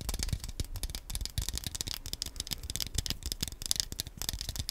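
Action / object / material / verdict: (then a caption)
tap / plastic handheld game controller / plastic / none. Fingernails tap and scratch the analog stick area and shell of a small black hollow plastic Wii Nunchuk controller held in both hands near the mic. A rapid, uneven stream of dry, bright plastic clicks and scrapes mixes with soft low thumps, and each tap stops short with no ring.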